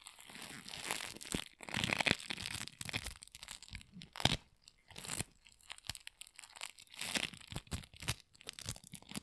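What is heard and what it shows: A handful of sticky pink floam, a solid mass of tiny polystyrene foam beads, is pulled apart and torn by gloved hands. Dense, bright crunching and crackling comes in uneven bursts with sticky tearing sounds and short quiet gaps between pulls.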